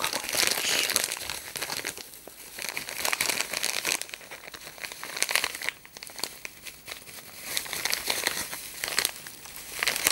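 A small bundle of crinkled silver aluminium foil, wrapped around a small Soviet glass Christmas ornament, is crinkled and unwrapped by hand. Dense, bright crackling and crumpling rises and falls in bursts throughout, with almost no low end.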